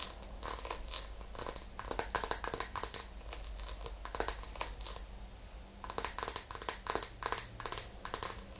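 Long nails tap the top of a small glass candle jar filled with white wax, resting on a fluffy rug, then fingertips and nails tap its glass sides. The result is quick bursts of crisp, clicky taps with a high, bright glassy ping that fades almost at once, separated by brief pauses.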